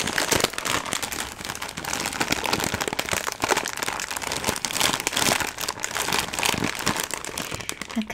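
A sealed, hand-sized green NatuChips "Platanitos Ajo y Perejil" snack bag of metallized plastic film, full of chips, is squeezed and crinkled with fingertips and long nails. It makes a steady, dense run of bright, crisp crinkling and crackling with many quick, sharp snaps that die away almost instantly, and very little low end.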